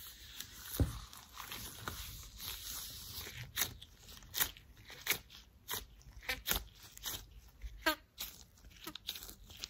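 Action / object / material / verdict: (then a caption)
scrape / thin latex gloves on hands / latex / none. Gloved fingers in thin white latex gloves are rubbed, squeezed and squeaked against each other. Soft, crackly rubbing runs throughout, broken by a series of short, bright squeaks and sharp rubbery snaps.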